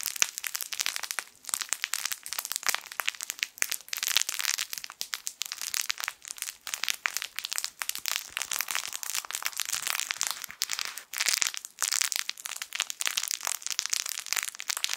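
A yellow sun-shaped plush crinkle toy, a soft fabric sun with crinkle film inside, is squeezed with the fingertips of both hands. It makes dense, bright, crackling crinkles that go on without pause for the whole clip, with almost no low end.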